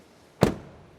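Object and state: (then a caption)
Solid-sounding car door. A car door on a new 2022 Opel Astra (Vauxhall Astra) compact hatch is slammed shut. It makes a single short, low thud with almost no ring, and it is judged to sound very solid.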